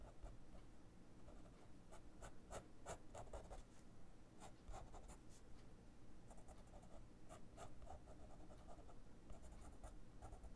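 A fine-tip pen draws across the thin white paper page of a spiral-bound sketchbook lying flat. Quiet, dry scratching strokes come in short bursts with brief pauses. A constant low hum runs underneath.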